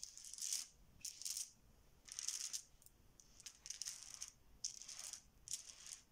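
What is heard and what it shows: A pile of many small solid plastic Bananagrams letter tiles on a stone countertop is swirled and shuffled with fingertips and open hands. The tiles clack together in repeated bright, rattling bursts of quick clicks, separated by brief quieter pauses.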